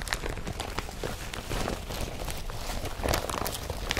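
Fingertips crumple and rub the fabric of an empty blue woven polypropylene IKEA FRAKTA/BRATTBY carrier bag with yellow straps, lying on a dark surface. The result is a soft, continuous crinkling and rustling with scattered brighter crackles over a low, dull rumble, all at a quiet level.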